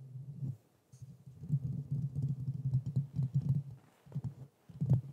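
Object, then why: Metal mesh microphone grille. Fingertips tap and scratch the metal mesh grille of a black Blue Yeti microphone, at times with one hand. The result is dense bursts of dull, low thumps and rustling, deep and boomy with almost no bright content, separated by brief quiet pauses, ending on a louder thump.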